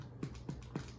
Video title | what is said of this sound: Homemade Bread, Fried Dough and Pizza Dough | It's done. When you hear it's hollow, you know it's done.